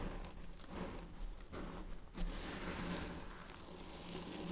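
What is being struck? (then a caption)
Crushed soap flakes. Dry soap, shaved with a peeler and dried, is crushed into fine powder, the flakes pressed with flat hands and crumbled between fingertips. A soft, grainy crinkling and crackling rustle runs throughout over a faint low hum, swelling louder just past the two-second mark and staying fuller after.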